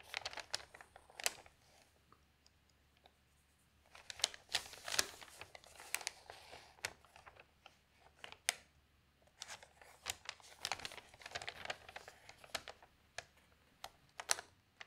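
A large, thin newsprint newspaper spread open on a table is handled by fingertips with long nails that lift and turn its pages. The result is quiet, bright, crisp crinkling and rustling in quick bursts of sharp crackles, with a near-silent pause before the page turning resumes.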